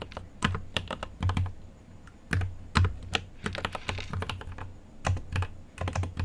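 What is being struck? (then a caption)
Mechanical keyboard with plastic keycaps and metal case. Fingertips type on a mechanical keyboard with an aluminium case and plastic keycaps, producing a rapid, irregular stream of sharp key clacks. Each stroke carries a deep low thump beneath a bright click. The strokes come in uneven bursts with short pauses in between.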